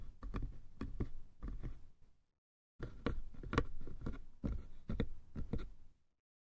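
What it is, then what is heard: Wooden box. Fingertips tap the sides of a small light-wood box, then its lid, making soft, dull, low knocks that die away almost at once. The taps come in two bursts separated by a short silence.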